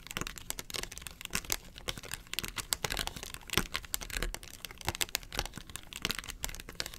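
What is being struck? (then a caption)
Plastic box lid. Long nails scratch across the ridged face of a hollow, round yellow plastic box lid. The result is a dense, continuous run of bright, crackly scrapes and quick ticks with a faint low hollow undertone.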